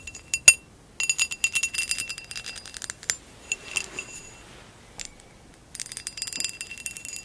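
A hollow amber textured glass vase lying on its side is tapped with long acrylic nails. The result is bursts of quick, bright clicking taps, each with a brief high glassy ping, separated by short pauses.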